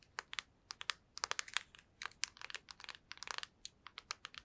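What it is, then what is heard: Plastic handheld game console. Long nails tap across the front and back of a black PSP handheld console, with its hollow plastic body and glossy screen. About two dozen quick, dry, bright clicks come in an irregular, typing-like patter, some in fast clusters. Each tap is quiet and dies instantly with no ring.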